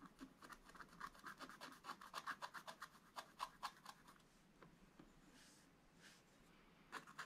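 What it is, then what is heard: Scratch-art paper page. A wooden stylus scratches detail lines on a dragon drawn on a black-coated scratch-art paper page. Quick, dry scraping strokes come in a fast, uneven rhythm, with a bright, hissy rasp centered around 1 kHz. The strokes fade into a quieter stretch of soft rustling before a few more sharp scratches at the end.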